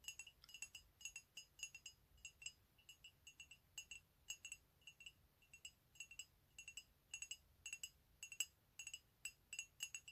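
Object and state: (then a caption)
Ceramic coffee mug tapped with fingernails. A medium, empty white ceramic mug with "COFFEE" lettering, held in both hands, is tapped with fingernails in quick, uneven bursts throughout. Each tap is a faint, bright clink with a clear tone near 3 kHz and high overtones, almost no low end, and virtually no ring after it.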